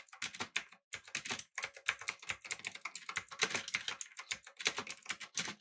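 A backlit mechanical keyboard with an aluminum body, blue switches and round plastic keycaps is typed on with the fingertips of both hands. Rapid, bright, clicky keystrokes come in uneven bursts with short pauses, each click dry and quickly damped.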